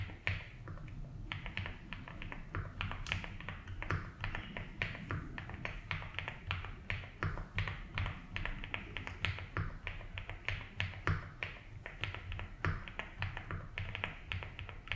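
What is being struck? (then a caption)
Mechanical keyboard with plastic keycaps and case. Fingertips slowly type on a 75% mechanical keyboard with ABS keycaps in a light blue plastic case. Many short, crisp clacks with bright tops and very quick decay fall at an unhurried, uneven pace. A steady low hum near 90 Hz runs underneath.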